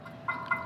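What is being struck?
Gas grill burner, stainless steel.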